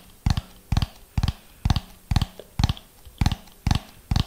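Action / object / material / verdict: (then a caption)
tap / ribbed plastic dome / plastic / none. A hollow orange ribbed plastic dome held in front of the microphone is tapped with the fingernails of both hands in a slow, steady rhythm. Nine short bursts arrive about every half second, each a quick double tap with a deep hollow thump and a crisp, bright fingernail click. The sound dies almost instantly between bursts, leaving quiet gaps.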